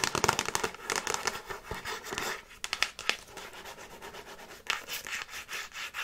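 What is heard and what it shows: Long nails tap and scratch the glossy printed cardboard slipcase of a handheld Frasier season DVD box set, a hollow box with discs inside, as it is tilted. Bright, dry scratching and quick taps crowd the first three seconds, then give way to softer, rhythmic rubbing strokes with a few sharper flicks. Each sound stops almost instantly, with little low-end body.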